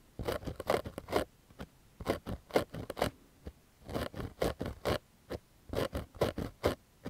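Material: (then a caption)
Cotton fabric. Fingernails scratch the crown of a pink cotton baseball cap with a stitched patch, held close to the microphone. Quick dry, scratchy strokes come in four clusters, with a single lone scratch between each cluster. Each stroke is brief and raspy, with a mid-range body and no ring after.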